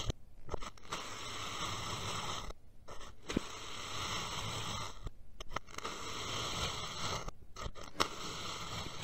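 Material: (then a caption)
Sand. A steel knife blade makes repeated diagonal cuts through the layered slices of a purple kinetic sand dome. Each cut is a long, soft, gritty scrape with bright crunchy texture, broken by brief quiet pauses and occasional sharp clicks as the blade moves through the sand.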